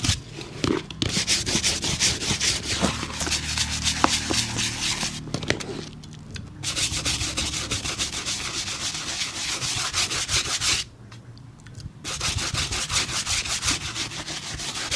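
A single empty black leather work shoe, held in one hand and covered in soapy foam, is scrubbed back and forth with a small bristle brush across the leather upper and sole edge. Quick, wet, bright brushing strokes repeat steadily, broken by a few brief pauses.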